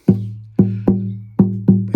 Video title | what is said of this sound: 1971 Yamaha FG110 Neck Reset & Re-finsh | it's just so nice that it's just got a very even tone